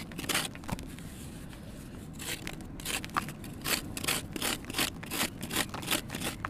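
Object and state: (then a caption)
Soft, crumbly red sand cement block. A kitchen knife shaves and scrapes the face of a small, solid, soft and crumbly red sand cement block held in one hand over a bin of loose red powder. Brisk, uneven strokes make dry, gritty scraping bursts that are bright and hissy, over a steady low rumble. Powder falls off the block with each pass.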